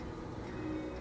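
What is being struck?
Nothing is struck.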